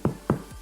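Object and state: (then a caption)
Hollow-sounding, fully baked sourdough loaf. Two short taps on the bottom of a baked sourdough loaf give dull, hollow low thuds that die away quickly. The hollow sound confirms the loaf is baked through and done.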